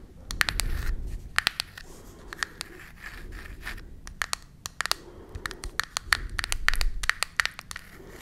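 Long nails tap and scratch the printed surface of a small closed cardboard matchbox held in both hands. Dozens of sharp, dry clicks with a bright edge come in quick irregular bursts over soft, papery scratching and a faint low rumble. Each tap stops almost instantly, with no ring after it.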